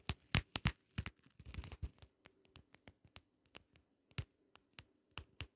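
Long nails lightly tap and scratch the ridged lid of a small, closed, hollow shell-shaped compact case covered in holographic vinyl. About 18 quiet, irregularly spaced taps each produce a short, dry click with a low hollow thump and a bright tick, with soft scratching in between.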